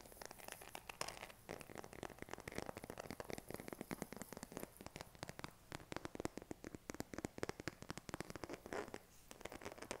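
Fingernails tap and scratch the back of a smartphone in a pink silicone case held in both hands. The result is a quiet, rapid stream of dozens of short, dry clicks mixed with soft scratchy, crinkly rubbing that continues steadily through the clip.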